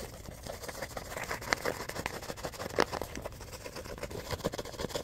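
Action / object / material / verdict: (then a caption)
scrape / paper composition notebook with cardboard cover / paper / none. A small composition notebook with a cardboard cover and worn, wavy paper pages has its pages fanned, riffled and scratched with fingers. The result is a fast, continuous crackling rustle with sharp, bright paper snaps scattered throughout.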